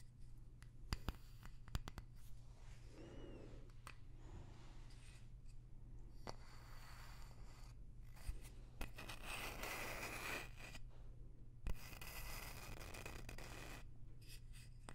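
A light wooden block with a barcode label is turned in the hand and scratched and tapped with long nails. Soft, dry scratching and rubbing textures swell in bursts, with a few sharp, short taps standing out, all over a steady low hum.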